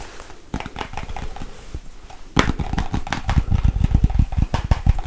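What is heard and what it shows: A small, hollow white plastic Nivea cream jar is tapped rapidly with long white nails on its lid and base. The quick, dry taps sound low and thumpy, with short clicky attacks. After a softer opening stretch they grow louder and more forceful.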